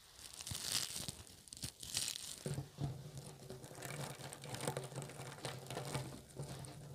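Fingertips press, squeeze and rub a hand-sized clump of small green soft-plastic Bunchems burr ball toys stuck together on a wooden table. The spiky bristles give off dense, bright crinkling and crackling in uneven bursts, with soft rustling between squeezes.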